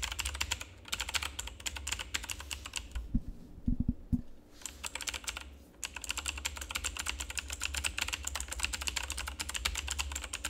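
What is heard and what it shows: Fingertips of both hands rapidly press and tap the keycaps of a full-size, backlit plastic RGB mechanical keyboard with a hollow housing. The result is dense, bright clicking with a low steady rumble underneath. The typing pauses briefly around the four-second mark, where a few duller thumps are heard, and again just before six seconds, then resumes at a fast, even pace.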